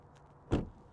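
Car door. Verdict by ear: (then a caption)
Solid. The door of a Porsche Macan Electric is shut in a door thunk test, giving a short, low, muffled thunk that dies away within about a tenth of a second. It sounds solid and heavy.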